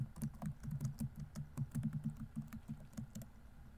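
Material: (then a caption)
Plastic. Fingertips tap the plastic keys of a laptop keyboard at a steady pace, giving a quick run of soft, low, dull clicks with short bright ticks on top. Each tap dies away almost at once. There are no voices.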